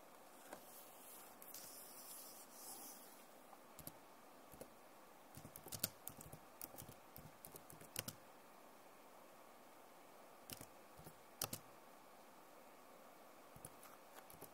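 Long nails rub and tap on the plastic keycaps of a backlit Acer laptop keyboard. A soft, bright scratching hiss at the start gives way to quiet, sharp clicking taps, some in quick clusters, with short pauses between them.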